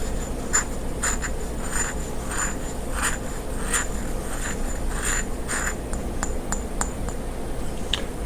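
About ten soft fingertip taps, each a brief, fairly high click that fades almost at once with no lasting ring. The dry, earthy tick fits a small fired clay pot. A steady low hum sits under the taps.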